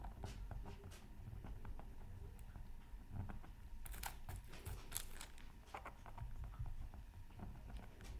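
A bamboo stylus tip scratches steadily across a flat, thin, solid black-coated scratch art card from a Mythical Creatures Super Scratch Art Pad. Short, bright, dry scraping strokes come in quick succession over a quiet, low, muffled background rumble, and each stroke dies away almost immediately.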